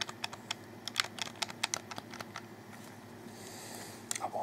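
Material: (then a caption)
Plastic. A black plastic Xbox 360 controller, a hollow handheld shell held in both hands, has its buttons clicked by fingertips while the thumbs work the thumbsticks. About sixteen sharp, bright plastic clicks come in an uneven run with very short ring, then a soft hiss and a final cluster of clicks near the end.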